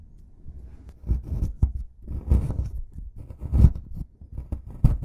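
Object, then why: Plaster excavation block. A white plastic brush scrubs and scratches a solid plaster excavation block, loosening plaster dust. Heard as irregular, dull, low scraping and brushing strokes that swell in bursts, with faint brighter scratchy edges.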